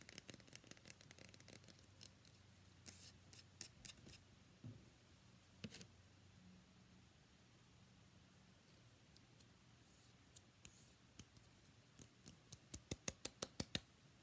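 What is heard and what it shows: Long painted fingernails scratch and tap a solid, palm-sized, cream-white rectangular bar of soap held in one hand. Quiet, dry scratching runs under scattered sharp clicks, then a quick run of crisp taps closes the clip.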